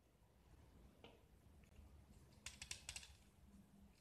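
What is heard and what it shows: A utility knife blade scrapes thick white plaster shavings off a small solid gypsum block speckled with green paint, held in the hand. About five short, dry, bright scraping strokes stand out, clustered mostly in the second half over a faint low background hiss. Each stroke stops almost at once with no ring.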